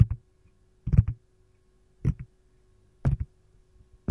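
Long gold nails tap and scratch the domed back and compartment edges of a hollow, empty green silicone lime-slice ice cube tray held on its side. The sound comes as five short clusters of soft taps, roughly one second apart. The taps are dull, low and muted, with almost no ring, over a faint steady hum.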